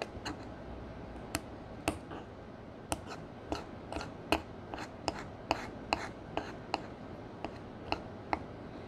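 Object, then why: Pressed powder eyeshadow in a palette, worked with a metal spatula. A metal spatula held with long nails crushes a brown pressed powder eyeshadow square into chunks in a black square palette. About seventeen sharp, dry clicks with bright, high tops land at an irregular pace over a quiet, steady scraping and crumbling texture. Each tap dies away almost instantly.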